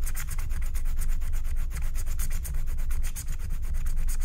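A wooden stylus scrapes the coating of a flat, thin, black wax-coated paper scratch-art card with dense, rapid sanding-like strokes. The result is a steady, bright, scratchy rasp with a rhythmic stroke pattern over a low rumble, holding a fairly even level throughout.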